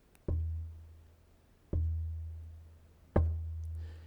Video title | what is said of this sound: Why Making Instruments Can Connect You Back to Reality - Luigi Marucchi - TEDxGeorge | it's just that the note must be sustainable and it must hang for as long as possible